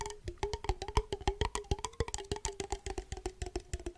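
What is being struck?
Small glass jar with a metal lid.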